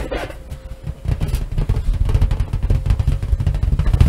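A large, hollow, air-filled purple latex balloon with white polka dots is held over a wooden table and tapped and rubbed with long nails and fingertips. A quick run of dull, low, drum-like thumps builds into a steady patter. The taps are dry and short, with almost no ring.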